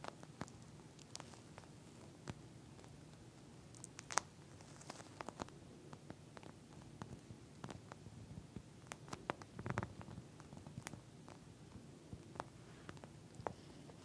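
Long nails scratch and tap with clawing motions on a pink flat eye mask, a clear plastic shell filled with small gel beads. Quiet, crisp plastic clicks and light scrapes come in irregular bursts over a soft low rumble, each tap dying away almost instantly.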